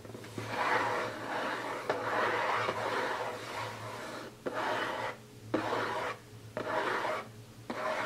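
Fingertips and nails scratch and rub across the lid of a closed, hollow, rectangular printed cardboard gift box lying flat on a table. The result is a dry, papery rasping in repeated strokes, centered in the mid range with some brighter grain, separated by brief quieter pauses.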